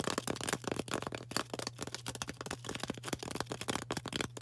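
Long orange nails tap and scratch the sides of a solid green floral foam brick held in both hands. The result is a quick, dense run of soft, dry taps and crackly scrapes that die away almost instantly, over a faint steady low hum.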